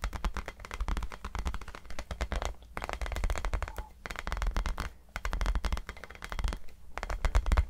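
A tiny rubber basketball is tapped in quick, dense bursts of short, dry taps, with brief pauses between runs. The sound is soft and muffled, weighted toward a low thud with little high-frequency content.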